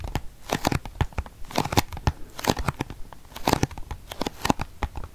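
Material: Cardboard.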